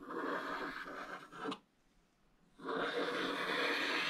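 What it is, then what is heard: Scratch-art paper being scraped. A wooden stick scratches the black coating of a flat scratch-art paper page lying in an open book, using downward strokes. A dry, bright scratching rasp runs steadily, stops for about a second of near silence, then resumes just as busily.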